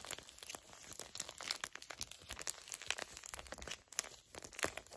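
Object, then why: Small filled foil-laminate sachet. A small, flat, filled Garnier Fructis hair mask sachet made of foil/plastic laminate is crinkled and scratched with long nails and fingertips. The result is a steady stream of quiet, bright, crisp crackles and sharp scratchy ticks with almost no low end.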